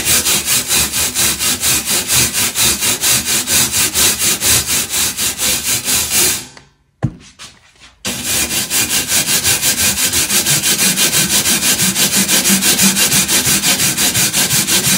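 A purple plastic bristle brush scrubs back and forth across a flat perforated metal panel, making bright, raspy strokes in a steady rhythm of about two per second. The scrubbing fades and stops for about a second and a half, with only faint taps, then resumes at the same even pace.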